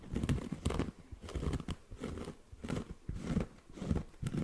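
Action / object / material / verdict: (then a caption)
scrape / cork coaster / cork / none. Short fingernails scratch across the face of a round, flat, solid cork coaster held close to the microphone. The scratching comes in repeated dry, crinkly bursts with a muffled, low-heavy texture and very little bright content, pausing briefly between strokes.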